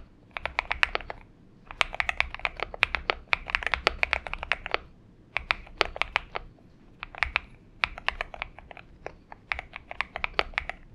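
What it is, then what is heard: Mechanical keyboard being typed on. Fingertips of both hands type continuously on a purple-backlit Xinmeng M71 70% mechanical keyboard with an aluminum case and PBT keycaps, resting on a desk mat. Bursts of sharp, bright key clicks arrive in quick runs separated by brief pauses, with a crisp tone around 2.4 kHz and almost no low end.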